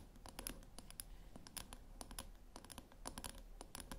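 Long nail tips scratch and click along the top rim edge of a small round silver metal tin. The result is a quiet, rapid series of sharp, bright clicks and scratchy taps with very short decay over a low background hum.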